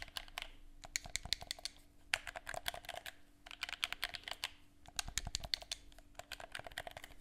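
Fingertips press and click the buttons of a black, hollow, hand-held plastic gamepad held close to the mic and tap its shell, producing rapid, bright, clicky taps with almost no ring. The taps come in quick, dense bursts separated by brief pauses, over a faint steady low hum.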